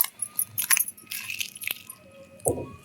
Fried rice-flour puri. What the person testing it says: didn't you hear a sound? How crispy the puri is.